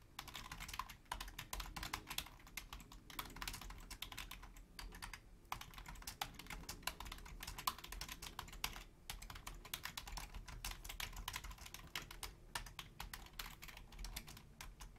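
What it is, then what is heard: Plastic computer keyboard. Long fingernails and fingertips of both hands type rapidly on a full-size black plastic Logitech membrane keyboard with a hollow housing. A steady stream of quick, bright plastic clicks and taps runs over a soft low thud, broken by a few brief pauses. Each tap dies away almost instantly.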